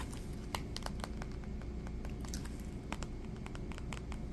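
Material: Metal.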